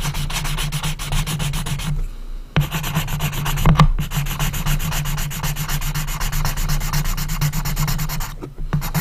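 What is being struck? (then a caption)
Small light wooden box, pencil rubbed on the lid. An orange colored pencil is rubbed rapidly back and forth on the closed lid of a small, hollow, unfinished light-wood coffin-shaped box, filling in a strip. The result is a steady, dense scratchy rubbing with a low hollow resonance from the box, pausing briefly near 2 seconds and again near 8.5 seconds before resuming.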